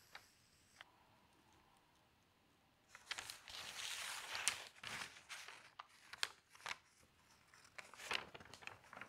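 Long pink fingernails tap, scratch and rub across the printed page of a thin newsprint newspaper lying open flat on a table, then lift its edge. After a near-silent start with a couple of faint ticks, bright, papery scratching and rustling swell in, broken by sharp, crisp crackles and crinkles.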